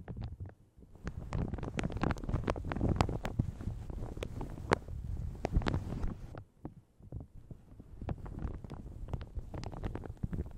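A light blue plastic shower cap stretched over a large hollow microphone is scratched, crinkled and gripped by long red nails and fingertips. Dense, sharp crinkling ticks ride over a heavy low rumble, easing briefly at around six and a half seconds before continuing.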